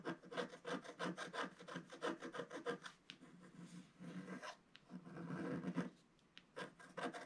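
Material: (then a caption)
Coated paper. A wooden stylus scratches a fish shape into a black-coated scratch art page, about A4 in size and lying solid and flat. A quick run of short, dry, rasping strokes gives way to longer, continuous scratches with brief pauses, then a few more short strokes. The sound is mostly mid-range, with little low or bright content.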